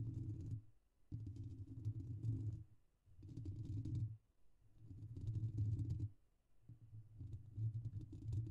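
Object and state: Metal mesh microphone grille being scratched.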